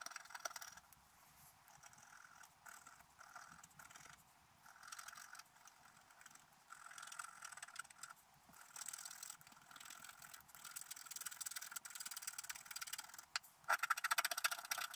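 A wooden stylus scratches and etches the black wax coating on the lower figures of a flat scratch-art card lying on a table, while the other hand holds the card steady. Quiet, dry rasping strokes come in short bursts of bright scratchy texture with no low end. The scratching grows louder and sharper near the end.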